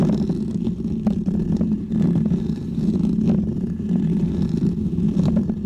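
A small, round, white, textured foam windscreen on a microphone is scratched with the short fingernails and fingertips of both hands. The result is a steady, dense, low rumbling scrape centred around 200 Hz, with brief brighter scratchy flicks cutting through it.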